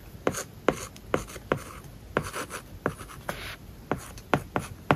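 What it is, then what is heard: Stylus writing on a tablet with matte paper-like film. A plastic stylus tip writes on an iPad covered with a matte, paper-like plastic film. Short scratchy strokes alternate with sharp little taps as the tip lands on the flat tablet surface. The sound is dry with almost no ring, set against a faint steady hiss.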